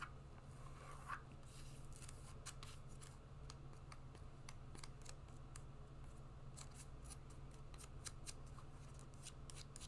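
A brown suede wedge shoe is held up while fingertips and nails scratch the suede wedge, making a run of soft, dry scratches with bright ticking edges. The scratches sit over a steady low hum throughout.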